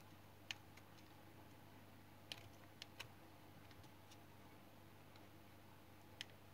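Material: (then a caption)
Soap. A small solid remnant of pale yellow household soap, held in the fingers, is shaved with a utility knife blade, the shavings piling up below. A few short, crisp, bright scraping clicks land at irregular intervals over a steady low hum.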